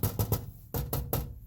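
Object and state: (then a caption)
Loose rattling part in metal door panel. Six taps land on the metal inner panel of a Winnebago motor home's driver-side door on a Workhorse chassis, with the panel back in place over the door mechanism. Each tap gives a short, low, hollow knock with a brief bright click and little ring. The taps reveal a loose part rattling inside the door, a fault that would be heard while driving and that is then wedged with butyl tape to stop it.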